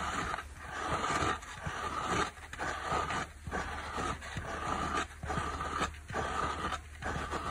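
Long black nails scratch the blue non-woven cloth face of a small, dry layered dish sponge with a yellow polyurethane foam core and a black abrasive scour layer. The result is a continuous, raspy scraping in loosely rhythmic strokes, with brief quieter gaps between passes, over a steady low hum and a faint midrange tone.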